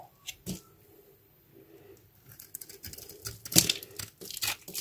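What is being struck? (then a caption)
Bar of soap scraped with a metal blade. A metal utility knife blade carves a solid, hand-sized blue bar of soap held in one hand, shaving and scraping dry soap flakes onto a white board. Bright, dry scraping and crinkly crackles come in short bursts, sparse and quiet at first, then denser and louder toward the end.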